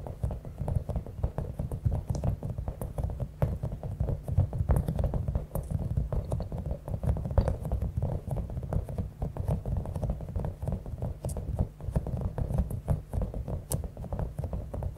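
A palm-sized, clear, soft rubber stress ball with a spiky top, filled with small beads, is tapped and scratched with long acrylic nails. The result is a continuous, dense patter of soft, muffled taps and scratchy clicks, mostly low in tone with brief bright ticks throughout.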